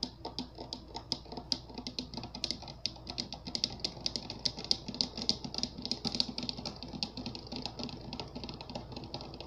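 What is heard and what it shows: A clear, round, hand-sized plastic water globe on a lit base, filled with water and colorful Orbeez beads, is tapped all over its outside with the fingertips and nails of both hands. The result is a quick, irregular stream of short, bright clicks and ticks with almost no ring, over a soft, low, hollow thud.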